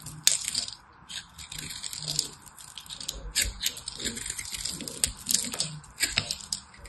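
A small knife blade cuts and crumbles the edge of a hand-size solid white soap bar, making a steady run of crisp, bright crunching and crackling. A few sharper snaps stand out near the start and toward the end, each dying away almost instantly, with very little low-end body.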